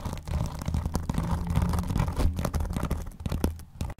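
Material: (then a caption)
Vinyl. A closed blue vinyl-covered binder is tapped and scratched with fingernails along the front edge, then the top edge, then across the cover. The result is a dense run of low, dull scratching and tapping with a steady rumbling undertone, and the individual hits blur together without clear gaps between them.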